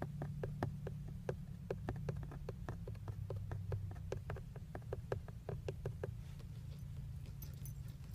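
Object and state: Hollow plastic steering wheel airbag cover.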